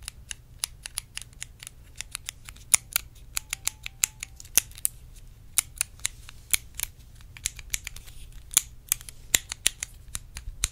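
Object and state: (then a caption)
Clear plastic compartment box. Long red nails tap and scratch a small, hollow, clear plastic compartment case. The result is a fast, uneven stream of dozens of sharp, bright clicks and ticks with almost no ring, over a faint low rumble and light scratchy noise between the hits.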